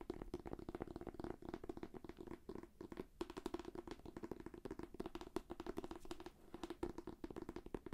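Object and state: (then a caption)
Shrink-wrapped paperback book. Fingertips and nails tap rapidly on the cover of a thick, solid paperback book sealed in plastic shrink wrap. The quick, dry taps have a soft, hollow tone centered in the low-mids, with very little bright content. Each tap dies away almost instantly.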